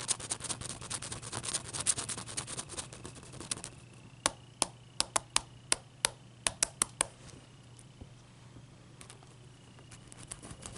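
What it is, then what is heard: Large ice cube. Long dark nails scratch and tap the surface of a large, clear, solid ice cube held in the hands. The first few seconds are a dense run of bright, crisp scratches and fast clicks. These give way to about eleven separate sharp taps that stop quickly, then quieter, scattered ticks over a low background hum.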